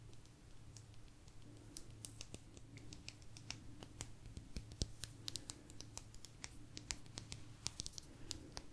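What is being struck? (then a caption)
Thin agate stone slice. A small, thin, solid blue agate slice is tapped and scratched with long nails. Many quick, bright clicks and short scratchy ticks sound over a quiet, steady low hum, each dying away almost instantly.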